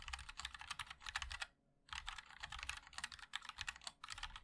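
Fingertips of both hands type continuously on a compact 60% mechanical keyboard with a black case, white and black plastic keycaps and linear switches, sitting on a wooden wrist rest. A rapid stream of short, bright plastic clicks and clacks is heard with little low end, broken by a brief near-silent pause at about 1.6 to 1.9 seconds before the typing resumes.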